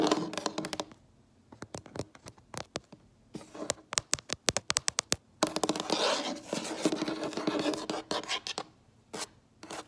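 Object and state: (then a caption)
Wooden tabletop. Long nails and fingertips tap and scratch a solid, light wood-look wooden tabletop, close up at table level. Bursts of rapid, sharp clicking taps alternate with stretches of bright, raspy scratching across the surface. The taps are dry and short, with almost no ring.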